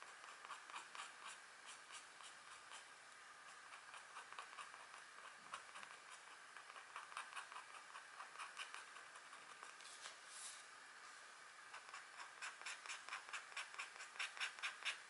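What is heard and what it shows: A green stylus scratches fine lines into the coating of a flat, thin black wax-coated scratch art card. Quiet, bright, papery scratching strokes come in a loose repeating rhythm of about two per second, with no low end.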